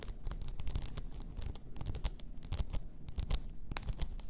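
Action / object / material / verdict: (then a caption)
scrape / rhinestone-covered tumbler / rhinestones / none. Long nails scratch over a blue rhinestone-covered tumbler lying on its side, making a steady run of quick, gritty scratches and tiny clicks. Each short stroke carries a soft low thump under bright, crisp edges, and the strokes come in quick, uneven succession throughout.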